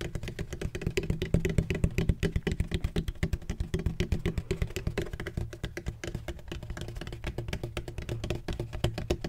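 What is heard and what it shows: Fingertips rapidly tap a large, hollow, black, donut-shaped bottle made of textured plastic with a red cap, held at its side. The result is a quick, uneven stream of short, dull, hollow knocks with a deep low resonance and almost no ring.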